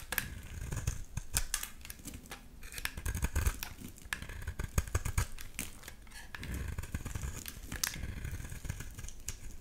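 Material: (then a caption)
Soap. The edge of a solid blue bar of soap held in the hand is scraped with a utility knife blade, and the shavings pile up. Dense, crisp scraping clicks and short bright crackles come in quick bursts over a soft, low rumble.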